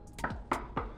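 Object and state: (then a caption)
Solid rear car body part. A rear body part of an Outback car under rust-removal rebuild, possibly a rear beam or foam piece, is knocked after the rear of the car has been removed. Several short, dull knocks sound with a brief midrange ring and little high-frequency content. The part sounds solid.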